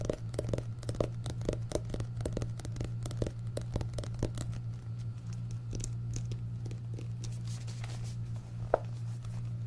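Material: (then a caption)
Paper. Fingertips tap and scratch the back cover of a solid orange paperback book with a paper cover and a barcode on the back, then both hands tap it. Quick, dry taps with a slight papery crinkle ride over a steady low hum, ending with one sharper tap near the end.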